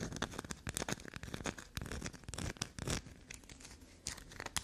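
Long black nails scratch and tap a solid black soap bar whose surface is covered in scratch lines. Quick, dry, crinkly scraping strokes and soft taps come in rapid, uneven bursts, bright and crisp with a low thud underneath. Each burst dies away almost at once.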